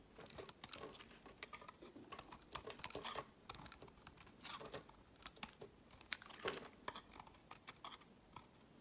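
A utility knife shaves thin curls off a palm-sized, solid oval white soap bar with a blue layer. The result is a quiet run of dry, crisp scraping and crinkly crackles, with bright, short bursts that stop almost instantly and very little low end.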